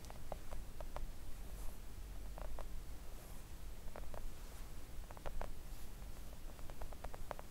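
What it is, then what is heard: Silicone nail art mat. Long acrylic nails tap a flat, thin, solid pink silicone nail art mat with both hands. Soft, dull clicks with a short ring come in uneven bursts over a steady low rumble. The tapping stays gentle and muffled throughout.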